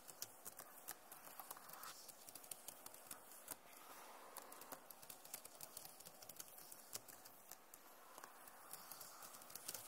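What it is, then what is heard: Plastic laptop keyboard. Fingertips and nails tap rapidly across the keys of a backlit plastic laptop keyboard, making a steady stream of light, bright clicks. The taps come in quick irregular runs with short pauses over a faint, airy background.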